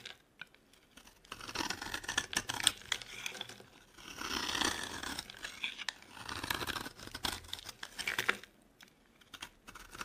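A metal box-cutter blade carves a solid, dry, palm-sized oval bar of orange Palmolive soap held in the hand, peeling off flakes. Crisp, bright scraping and shaving sounds come in bursts of rapid ticks with short pauses between strokes.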